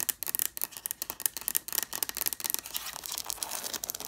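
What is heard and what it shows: Long fingernails tap and scratch quickly across the paper page edges of a stack of red hardcover books. The sound is a rapid run of dry, bright clicks and scrapes with almost no low end and no ring. In the last second and a half it turns into a denser, steadier scratching.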